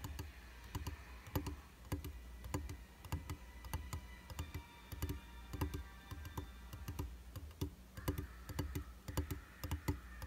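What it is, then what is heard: Glass vanity mirror tapped. Fingertips and short nails tap rapidly and unevenly on the dry, solid flat glass surface of a round tabletop makeup mirror with a white plastic frame. Each tap is a short, sharp click that dies away almost at once, heard over a steady low hum. Faint sustained mid-range tones drift in and out partway through.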